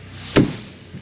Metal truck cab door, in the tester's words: the door shuts perfect there's no rattle